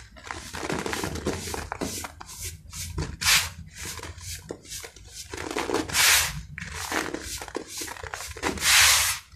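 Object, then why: Sand-cement clumps. Fingertips of both hands rub and crush small, moist grey-brown sand-cement clumps, solid and crumbly, on a white sheet covered with loose sand. Bright, gritty crunching and rustling come in repeated bursts, with a few louder grinding swells. The clumps crumble apart.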